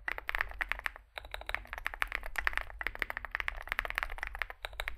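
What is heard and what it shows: Fingertips type continuously on a small Zoom65 65% mechanical keyboard with a dark case and white and grey SA plastic keycaps. The result is a fast, steady stream of short, crisp clacks with a bright click around 1.8 kHz and very little ring. The typing pauses briefly near one second and again shortly before the end, over a faint low hum.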